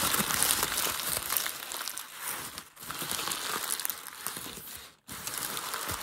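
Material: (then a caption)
Paper. A hand presses a creased grey sheet of packing paper and then crumples it, making dense, bright crinkling and crackling with almost no low end. The rustling runs almost continuously, softening briefly near 2.7 seconds and dropping to a short silence at about 5 seconds before it resumes.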